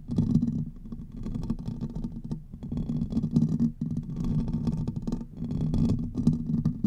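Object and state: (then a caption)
Metal microphone grille. Fingertips and nails of both hands scratch quickly across the hollow metal mesh grille of a large silver Blue Yeti-style USB microphone. The result is a dense, rumbling, muffled scratching, heavy in the low range around 100–250 Hz, with faint bright crackle above. It comes in sustained bursts separated by short quiet dips.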